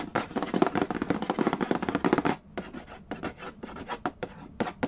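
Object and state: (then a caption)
Cardboard board game box. Fingertips rapidly rub and scratch the printed cardboard lid of a large, flat, hollow Mastermind board game box. A dense run of dry, papery scratching strokes fills the first half, then gives way to quieter, more spaced-out strokes with short, dead decays.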